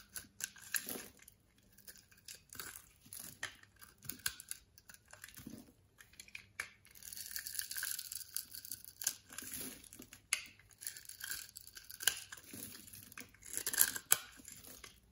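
A solid orange-beige bar of soap held in hand is cut in a grid pattern and scraped across its surface with a box-cutter blade, so small soap cubes and shavings fall away. Quiet, bright, crisp scraping and crackling cuts come in irregular bursts, with a few sharper snaps near the end.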